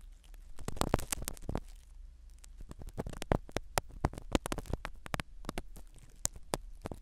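A thin black spiral-tipped ear pick scratches and pokes the foam cover of a small black binaural microphone seated in the canal of a skin-colored silicone dummy ear. Up close, dense crackling scratches and sharp, brief pokes sound over a low, rumbling, muffled undertone.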